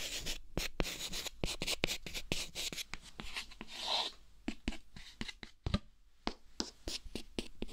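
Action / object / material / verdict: scrape / chalk stick on a chalkboard panel / chalk / none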